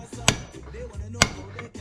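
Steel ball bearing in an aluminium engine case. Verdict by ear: Seated.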